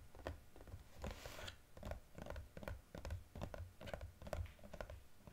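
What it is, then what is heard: Cardboard gift box. Fingertips and nails tap quickly on a small cardboard EOS gift box with a plastic window as it is held and turned. The taps come in an uneven run of dull, low thuds with sharper clicks on top, and a brief brighter scraping rustle sounds partway through.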